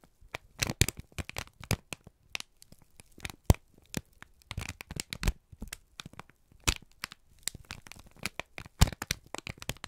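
A wrinkled brown kraft paper strip is squeezed and crinkled by both hands, giving a dense run of irregular crackles and sharp snaps. The bursts are brief and dry with a bright edge over a low, soft body, separated by short quiet gaps.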